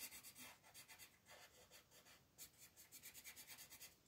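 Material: Paper.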